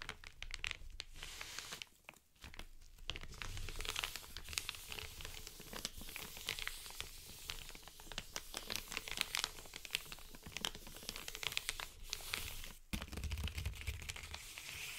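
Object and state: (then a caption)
Paper mailer envelope. Short nails on both hands scratch and rub an Amazon kraft-paper padded mailer lying flat. The result is a dense run of crisp, bright crinkling and scratching rustles with brief pauses near two and thirteen seconds.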